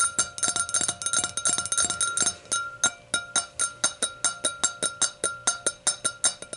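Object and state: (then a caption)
Glass hurricane glass. Long nails tap the rim of the round glass foot of an empty, clear hurricane glass, seen from the foot end. Quick, dense clusters of bright, glassy clicks give way to a steady, evenly spaced run of single taps. Each tap rings high with a faint tone and dies away almost at once.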